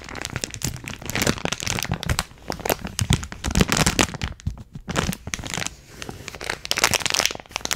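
A clear plastic bag filled with small purple beads or granules is cupped in both hands while long nails squeeze and scratch it. Dense, bright crinkling and crackling rise and fall in quick bursts with short pauses between them.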